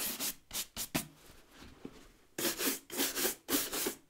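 A light-colored bristle brush with a wooden back scrubs the rubber lug sole edge and brown leather upper of a leather work boot held in hand. Quick bristly strokes come in a short burst, then a quiet pause with faint scratching, then another steady run of brushing. Each stroke gives a dry, bright, hissing rasp.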